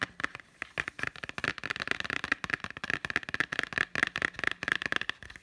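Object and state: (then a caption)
Blu-ray case with cardboard slipcover. Fingertips and short nails tap fast on the front cover of a green Totoro Blu-ray case with a cardboard slipcover, held upright, small and hollow. A rapid, uneven stream of dry, clicky taps carries a hollow tone near 1.8 kHz with very little bass. Each tap dies away almost at once.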